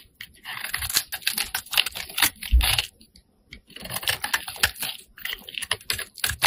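A metal blade scrapes and shaves curls off a solid pink bar of soap held in the hand. It makes rapid, crisp, bright scratching strokes in two bursts, with a short silent pause in between.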